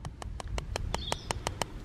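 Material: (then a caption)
Plastic. A flexible plastic downspout pipe from a ram pump system is tapped ten times in a steady rhythm. Each tap is short and sharp with a hollow ring, because the pipe is empty with no water inside. This contrasts with the heavier, water-filled delivery pipe.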